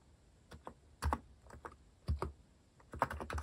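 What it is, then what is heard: Plastic mechanical keyboard. Fingertips type on a compact mechanical keyboard with a white plastic case and plastic cat-shaped keycaps. Short, dry, low-weighted clacks come in uneven bursts, with a quick flurry near the end. Each keystroke stops almost instantly, with no ring.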